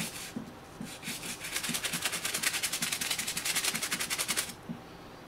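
A black and green high-top sneaker of leather or synthetic leather, covered in white cleaning foam, is held in one hand and scrubbed with a toothbrush in the other. Quick, bright brushing strokes build into a steady rhythmic scratching, with a wet, lathery hiss from the foam. The scrubbing stops shortly before the end, leaving a faint background hiss.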